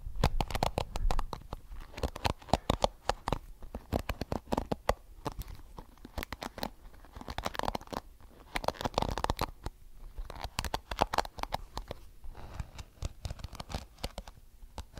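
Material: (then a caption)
Plastic. Fingertips flick and scratch the dense, multicolored, flexible plastic bristles of a small blue plastic hairbrush held close to the mic. The result is a rapid, uneven stream of sharp, dry clicks and crackly scratches with a bright, papery edge. Brief low thumps sit underneath, and each flick dies away almost instantly.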